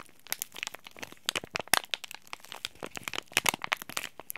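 A small, flat, green printed Oi Ocha tea bag packet of soft laminated plastic-foil film, holding a tea bag, is squeezed and rubbed by fingertips and short nails. It produces a steady run of quick, bright crinkles and crackles with no low end. Each sharp snap dies away almost instantly, and one loud crack lands near the middle.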